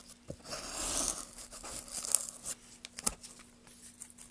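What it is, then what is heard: Pine wood block being carved. Gloved hands carve a solid pine board with a metal gouge, lifting curls of wood. A bright, dry tearing scrape swells through the first second, followed by softer shaving and a string of sharp, crisp ticks and crackles as the blade cuts. A faint steady low hum runs underneath.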